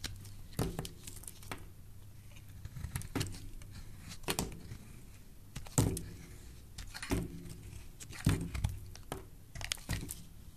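A metal blade shaves curls off a solid, rectangular yellow bar of soap with embossed lettering, held in the hand. Irregular, crisp scraping strokes come in short bright bursts over a low, soft rustle, with quiet gaps between cuts.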